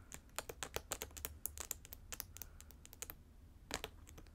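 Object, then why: Satin boot with plastic rhinestones and trim. A hollow pink fabric boot covered in gold trim and large plastic rhinestone gems is held upright near the mic while long acrylic nails tap and scratch the gems and trim. The result is a quick, irregular run of dry, bright clicks with very short decay over a faint low hum.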